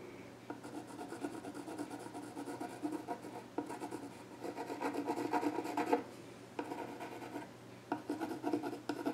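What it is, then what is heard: Pencil scratching a wooden stool top. A pencil scratches lines across the flat top of a solid, dark-stained wooden child's stool while the other hand rests on the surface. Dry, raspy strokes come in bursts of rapid back-and-forth scratching with brief pauses between them, holding a midrange texture with little low end.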